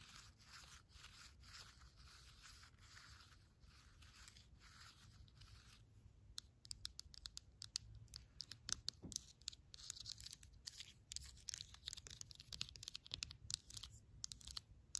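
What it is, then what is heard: Damp coffee grounds in a paper filter. A pen tip stirs and scratches damp used coffee grounds in a fluted paper filter inside a clear plastic container. The first six seconds are a steady, bright, papery scratching hiss. It then turns into a quick run of sharp, dry crackles and ticks over a faint low rumble.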